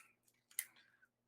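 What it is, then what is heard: Fairly tight watch bracelet. The steel bracelet of a Zodiac Sea Wolf watch is shaken in a shake test, giving a brief, faint, high-pitched metallic clicking with one sharp peak near the middle. The noise is judged not too bad, showing only a little rattle from a fairly tight bracelet.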